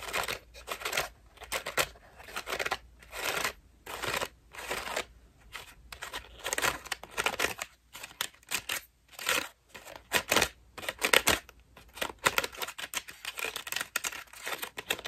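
Long pink nails rapidly scratch a white ruffled foam bath loofah. The result is bursts of dry, bright scratching and crinkling with little low end, separated by brief pauses.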